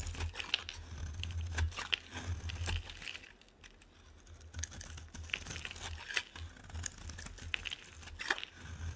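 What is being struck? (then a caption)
Bar of soap scraped with a metal blade. A metal blade scrapes curled shavings off a solid yellow oval bar of soap held in the hand, making dry, crinkly scraping with sharp, bright clicks over a steady low hum. The scraping pauses briefly near the middle, then resumes in short, crisp strokes.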